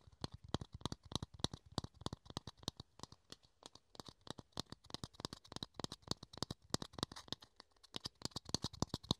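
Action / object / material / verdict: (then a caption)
tap / thin plastic dome lid / plastic / none. A small, hollow, empty clear plastic dome lid is held in the hands and tapped and scratched with the fingertips and nails. Dozens of quick, dry, quiet taps follow one another steadily, each a sharp click with a low thump and bright crackle that stops almost instantly. Faint scratching fills the gaps between the taps.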